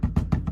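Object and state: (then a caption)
Tight underbody panel. The underbody panel of a 2015–2018 Ford Edge, refitted with new clips and its bolts back in to fix a highway rattle, is tapped four times, giving four short, dull low thuds. A faint metallic vibration lingers from the nearby exhaust resonating through the frame, but there is no flapping. The panel is now tight and sounds much better.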